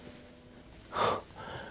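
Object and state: Nothing is struck.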